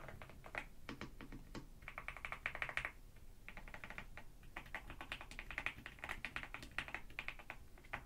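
Fingertips and long nails press and tap the keys of a black NuPhy Gem80 mechanical keyboard with dark plastic keycaps, resting on a white desk. Bursts of quick, bright clicky keystrokes come in fast runs with short pauses, each click sharp, centered around 1.9 kHz, and dying away almost at once, over a faint low rumble.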